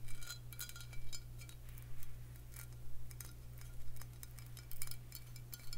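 A Crown Royal Vanilla faceted glass bottle, filled with amber liquid and held in the hand, is tapped with long fingernails. Short, bright glassy clicks come in quick clusters at a fairly steady pace, each dying away almost at once, over a constant low hum.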